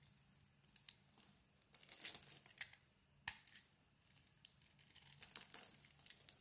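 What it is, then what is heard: Bar of soap being carved. A palm-sized solid lilac soap bar with a white interior is held in the hand and carved and scraped with a metal blade, shedding crumbly shavings. Quiet, dry, bright crackling and scraping bursts come in uneven clusters, with a sharp crisp snap near the middle. There is almost no low end.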